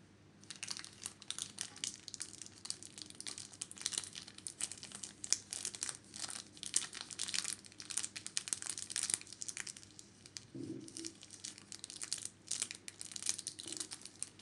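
Fingertips and nails squeeze and crinkle the pleated white paper or plastic wrapping of a small, round, solid hotel soap bar held in the hand over a white soap dish. The result is a steady, quiet stream of dense, bright crackling and rustling, with short pauses and a brief soft, lower bump partway through.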